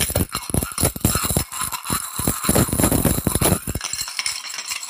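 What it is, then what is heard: Coins shaken in a glass jar. A small, clear glass jar, partly full with a handful of mixed metal coins, is held in both hands and shaken over a wicker chair. The coins rattle against the glass in rapid, dense bursts of clinking with a low thump and bright metallic chatter. The shaking stops near the four-second mark, leaving a faint, fading jingle.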